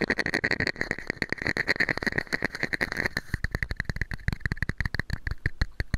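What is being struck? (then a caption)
Small plastic cup. A hollow, empty small red and white plastic cup is held over the microphone and tapped rapidly with fingertips and nails. For the first three seconds the taps run together over a bright, crackly hiss, then they turn into sharper, separate clicks with short, hollow low thuds. Each tap dies away almost instantly.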